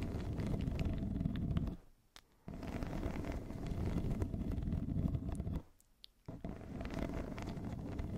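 A yellow corrugated plastic pop tube, hollow and ribbed, is wrapped around a fluffy microphone cover and scratched along its ribs with long nails. This makes a dense, low, rumbling scratching. The sound is broken by two brief near-silent pauses, around 2 and 6 seconds in.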